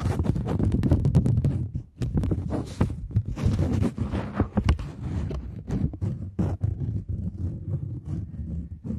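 A single purple UK £20 polymer banknote of thin, flexible plastic film is held taut between both hands with long manicured nails and flexed, crinkled and tapped with the fingertips and nails near a binaural microphone. Dense crackling and crinkling mix with quick, dry taps and soft rustles. The sound is mostly low and muffled, with brief bright clicks.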